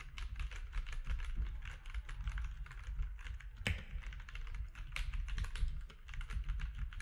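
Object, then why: Plastic mechanical keyboard. Fingertips of both hands type quickly on a compact mechanical keyboard with grey, white and orange plastic keycaps. A steady, dense stream of short, bright plastic clicks and clacks runs over a deep low thud, with one sharper snap partway through.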